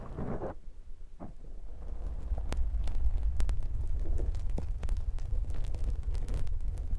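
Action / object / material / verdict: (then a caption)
scrape / foam microphone windshield / foam / none. A soft, hollow black foam microphone windshield is squeezed and rubbed by fingertips with short nails. The result is a dense, low, muffled rumble of squishing and rustling. Faint sharp clicks rise above it now and then.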